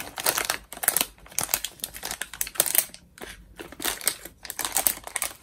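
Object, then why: Metallized plastic snack bag. A small, partly filled metallized plastic Cheetos chip bag is held in both hands and crinkled and squeezed with the fingers. This produces dense bursts of bright, sharp crackling with brief quiet gaps between squeezes. There is almost no low end.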